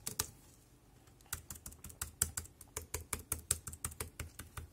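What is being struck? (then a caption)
Plastic computer keyboard. Fingertips press keys on the right side of a dark grey, plastic, compact wireless keyboard. Two quick clicks are followed by a pause of about a second, then a steady run of clipped typing strokes. In all, about 21 key presses, each a bright click over a low thump that dies away almost at once.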